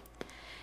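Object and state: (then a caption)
Baked-through bread loaf, hollow. A finger flicks the crust of a freshly baked white yeast bread loaf, giving one short, dry tap with a brief hollow tone around 380 Hz that dies away almost at once over a faint steady background hiss. The hollow sound shows the bread is done, ready to turn out onto a wire rack.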